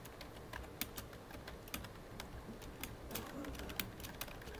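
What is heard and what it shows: Fingertips of both hands type on a full-size, hollow black plastic computer keyboard, producing a steady stream of quick, dry key taps. Each tap is short and bright, with little ring, over a low, soft background.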